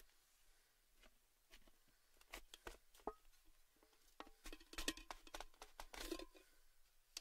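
Fingertips tap and rub the lid top and rim of a tall, hollow, red cylindrical metal Baileys gift tin with its lid on, while a hand grips the lid. Quiet, irregular, bright metallic taps with very short rings are heard, some with a faint tonal ping, over soft scratchy rubbing.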